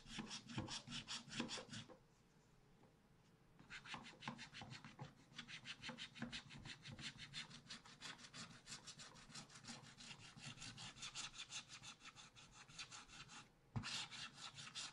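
A wooden stylus scratches a black-coated scratch art card near the top of a spiral pad held in the other hand. It makes quick, dry, bright scraping strokes in steady runs. The scraping pauses briefly around two seconds in, then resumes and continues almost to the end.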